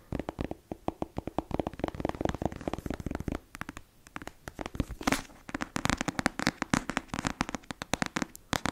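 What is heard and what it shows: Long nails tap rapidly on the cover of a closed, solid black paperback novel, producing a dense run of short, dry clicks. After a brief softer stretch of scratching across the cover, the quick tapping resumes with brighter, sharper clicks until the end.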